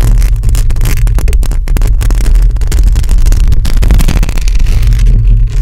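Long lilac acrylic nails on both hands scratch and tap a hollow metal mesh microphone grille. The result is a loud, continuous, boomy rumble with dense crackling scrapes, its energy almost entirely in the deep low end around 70 Hz.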